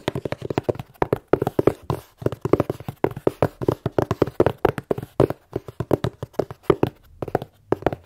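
A plain brown cardboard box, hollow and closed, is held upright and tapped with fingertips and long nails. About 45 quick, dry, hollow taps come in rapid, uneven bursts, each a short, low-mid knock that dies away almost at once.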